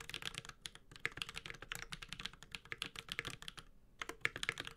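Continuous typing with the fingertips of both hands on a Space65 Cybervoyager, a 65% metal-case mechanical keyboard with Holy Panda switches and ABS plastic keycaps. A rapid run of short, bright clacks and taps with very little low end, each dying away almost instantly, with the tone centred near 2.2 kHz.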